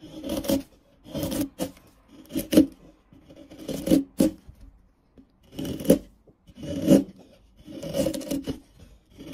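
A dark steel chisel is pushed by hand along the faces of a solid, light-colored wood carving block marked with a pencil outline, peeling off curls among the surrounding shavings. Repeated short rasping, scraping strokes come in bursts with brief quiet gaps between them, each with a dry, woody midrange texture and a faint bright edge.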